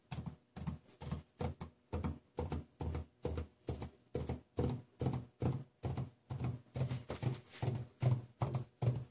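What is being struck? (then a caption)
Sheet of drawing paper on a table, tapped with plastic marker tips. Plastic marker tips worn on the fingers tap repeatedly on a large flat sheet of drawing paper lying on a table, leaving dots, while stones rest on the paper untouched. The soft, low thudding taps come in quick, slightly uneven bursts with short, dry decays.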